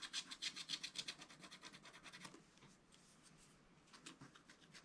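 A wooden stylus scratches stripes into a zebra and the surrounding ground area on a flat scratch-art card page in a spiral book. Quick, rhythmic, bright, dry scraping strokes are loudest at the start, then fade to a soft, steady rasp before a few lighter strokes return at the end.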